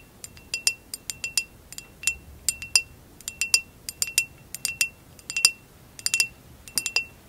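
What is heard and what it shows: Long acrylic nails tap and scratch a hollow, empty amber basket-weave glass vase held tilted, producing about 29 quick, bright clicks and clinks in irregular clusters. Each hit is short and dry with almost no ring, centered on a high glassy tone around 2.7 kHz over near-silence.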